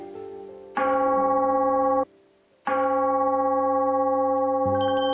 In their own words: 한번 때려 볼게요. 제대로 된 그 좋은 재료 가지고 두드려 만든 방자 유기는 아주 울림이 좋습니다.